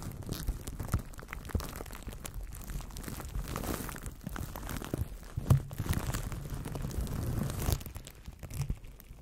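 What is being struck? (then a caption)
Plastic cling film wrapped around a microphone. Fingertips scratch and crinkle clear plastic cling film wrapped loosely over a solid microphone body, the wrap sitting hollow around it. The result is a close, dense stream of crackling crinkles and scratchy rustles with a heavy low thump underneath, and a few louder crunching bursts along the way.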